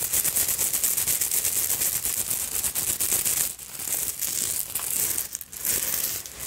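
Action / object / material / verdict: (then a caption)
scrape / beaded fabric evening purse / beads / none. Long pointed nails scratch fast across the beads and bead fringe of a small black beaded fabric evening purse. The result is a dense, bright, crackling rattle of clicking beads, almost all high-pitched with little low end. It runs steadily and briefly thins out twice near the end.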